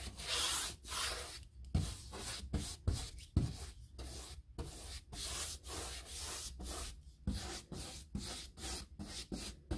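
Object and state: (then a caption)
Molded hardboard interior door brushed with a paintbrush. A handheld paintbrush is stroked along the panel edges and stiles of a panelled, molded hardboard interior door, likely hollow-core composite with a woodgrain texture. Repeated scratchy bristle rubs come in separate strokes with short pauses between them, each a bright, hissy sweep over a soft low thump where the brush meets the panel.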